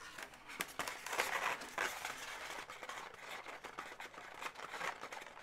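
Long nails tap and scratch along the body and leg segments of a pink, hollow, inflated latex twisting-balloon animal. Quiet, dry scratching and squeaky rubbing come in uneven bursts, with sharp taps ringing briefly in the bright midrange.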